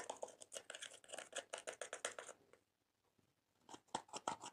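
A blue-handled, metal-tipped tool scratches and scrapes pressed colored powder out of the pans of a small clear plastic eyeshadow palette, held by long-nailed fingers over a slime tray. A quick run of dry, bright scraping strokes stops for about a second of near-silence, then picks up again with a few sharper scrapes.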